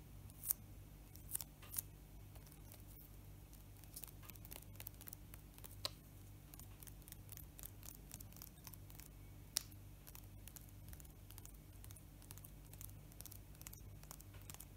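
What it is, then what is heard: Foil card booster pack being crinkled. Bare fingertips rub, crinkle and scratch a small, flat, sealed metallized-plastic Pokémon card booster pack, apparently still full of cards, held over a table, possibly tearing open its edge. Quiet, irregular bright crinkles and sharp scratchy ticks sit over a steady low hum, with a few louder crisp snaps standing out.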